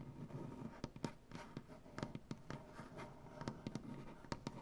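Dark-painted fingernails on both hands scratch and tap across a solid light wood butcher block tabletop. Soft, low scraping rustles run throughout, broken by sharp, quick taps that stop almost at once. The sound stays quiet, with most of its energy in the low range.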